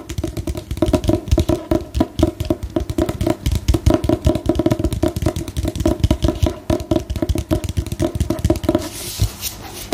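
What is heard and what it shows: Long nails tap rapidly and steadily across the glossy paper cover of a solid book, held upright, with a black-and-white photo on the cover. The taps are short, dull and bass-heavy and die away almost at once. Near the end the tapping briefly gives way to a softer, hissy brushing texture.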